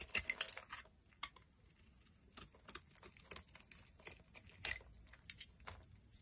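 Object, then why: Cream bar soap. A metal utility knife blade shaves and carves a solid, dry, cream-white oval bar of soap. The clip is quiet, with crisp, bright scraping and crackling bursts as thin curls come off the bar, loudest at the start and again near the end.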